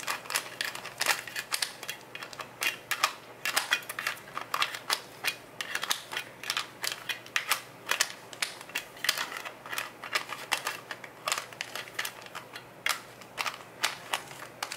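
Fingertips and short nails tap and scratch the yellow plastic screw lid of a medium-sized, clear plastic Nature Made Good Sleep gummy jar full of gummies. The result is a rapid, uneven stream of sharp, bright plastic clicks and ticks with light scratchy rasps in between. Each tap dies away almost instantly, with no low-end body.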